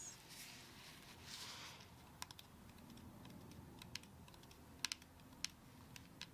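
Long acrylic nail tips repeatedly tap the side of a whole brown coconut with a fibrous shell, held in one hand. Quiet, short, bright clicks ring off almost instantly and are scattered irregularly, with a few in quick pairs. Beneath them runs a soft, steady low rustle and hiss.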